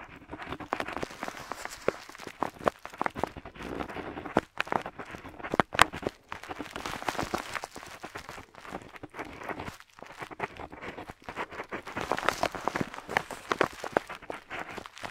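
A metal dip pen nib scratches across a flat paper map sheet on a table as it writes small glyphs, while the other hand holds the sheet steady. Dense, dry scratching strokes come in quick bursts centered in the mid range, with brief pauses between them.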